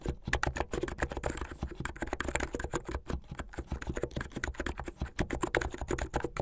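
Fingertips with medium-length painted nails type fast on a plastic mechanical keyboard with white and blue plastic keycaps. The result is a rapid, steady stream of short, dry key clacks with a solid low body and little ring.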